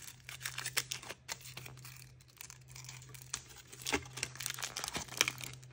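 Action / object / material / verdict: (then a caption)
scrape / thin aluminium foil wrapper on a chocolate egg / aluminium foil / none. Thin printed aluminium foil is peeled, torn and crinkled off a hand-sized solid chocolate egg held in both hands by fingertips with painted nails. Dense, bright crackling and sharp crinkles with brief tearing snaps are heard over a faint steady low hum.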